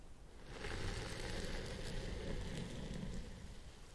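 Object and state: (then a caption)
Synthetic fiber wig. Fingertips and nails of both hands scratch the fibers at the top of a purple synthetic fiber wig on a head form. The result is a steady, dense rustling and crackling scratch over a low rumble, swelling after the first half second and holding fairly even throughout.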